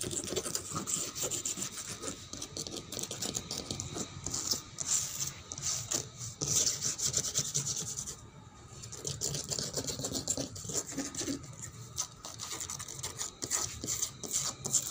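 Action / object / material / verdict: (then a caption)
scrape / painted wooden tabletop / painted wood / none. Fingernails scratch and scrape across a painted wooden table with a reddish-brown top and cracked paint. Dense, bright rasping strokes run almost continuously for fifteen seconds, with a brief quieter lull partway through.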